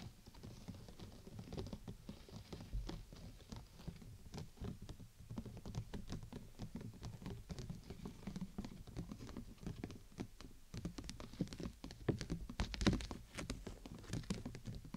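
Fingertips and nails tap rapidly on the top of an open, clear PVC dome umbrella whose thin plastic canopy is held over the mic. The result is a soft, dense patter of light, dull taps with a low, hollow body and little brightness, each dying away almost at once.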